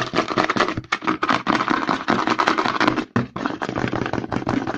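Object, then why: Plastic lotion pump bottle. Fingertips rapidly scratch and tap the label and edge of a white plastic CeraVe lotion pump bottle held upside down. The result is a dense, continuous stream of quick dry scratches and hollow plastic taps, mostly in the mid range with a bright edge. Two brief pauses break it up, around one second and three seconds in.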